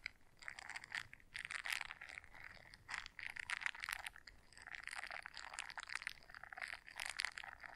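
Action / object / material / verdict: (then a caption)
scrape / silicone scrubber brush / silicone / none. Long nails scratch the bristles of a small blue silicone scrubber brush folded in half, making quiet, dense crackling and rasping strokes in rolling bursts. The sound sits in the upper mids and bright highs with almost no low end, and each scratch dies away instantly.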